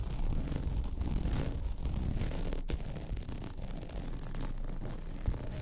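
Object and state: Woven vinyl placemat being scratched.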